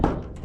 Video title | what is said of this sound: MAGPAPARENOVATE KA BA NG BUBONG ? PANOORIN MO MUNA ANG VIDEO NA ITO | matibay na siya pag kinatok mo. Iba na yung tunog niya.